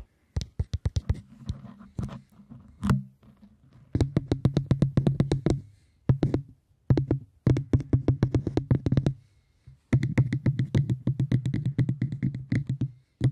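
Rapid fingertip-style tapping on cork comes in bursts separated by short pauses, giving dull, low thuds centered around 130 Hz with a short ring. The taps run in quick rhythmic runs, with little bright content, so the sound stays soft and muffled throughout.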